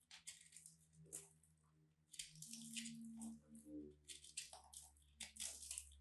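A small metal blade scrapes and cuts into a palm-sized, solid purple and white crumbly dried soap ball with a rough surface, held in one hand, crushing and scraping it. Bursts of bright, gritty crunching and scraping rise and fall over a faint low steady hum. Soap crumbs cover the mat below.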